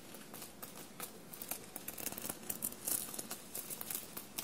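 Long blue-painted nails scratch and tap a bunched navy cotton shirt covered in small silver paillettes. A quiet, steady run of crisp, bright clicks and dry crinkling scratches rises over a soft hiss, each tick dying away almost at once.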